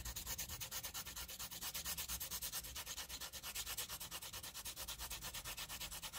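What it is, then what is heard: Pencil scribbling on graph paper. A green wooden pencil scribbles graphite back and forth across a flat sheet of graph paper, making a continuous, bright scratching. The rasp pulses in quick, fairly steady strokes a little over twice per second, with a faint low rumble underneath.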